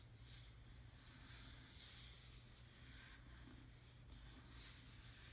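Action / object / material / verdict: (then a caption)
scrape / textured hard-plastic dashboard panel / plastic / none. Fingertips rub, scratch and lightly tap the grainy surface of a black textured hard-plastic dashboard panel, a hollow molded trim piece in a Jeep Wrangler. The result is a quiet, continuous bright scratchy rustle with gentle swells, over a steady low hum.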